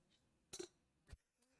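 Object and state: Plastic drinking cups clinked together.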